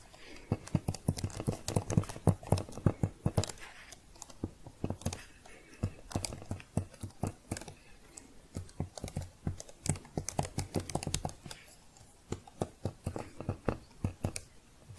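A thin red plastic keyboard cover, held upright, has its keys tapped and typed on with long painted fingernails. Quick, dry plastic clicks and taps come in dense, uneven bursts with very short decay, their body weighted low with a faint bright edge. There are brief lulls between flurries.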